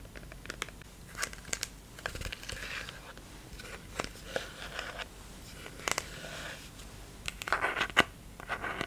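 A clear plastic micellar cleansing-water bottle with a pink flip cap, partly full of liquid, is held in the hand and tapped and scratched with fingertips and nails. Sharp, bright clicks and taps are scattered among soft, crinkly scratching bursts over quiet background hiss, with little low-end weight.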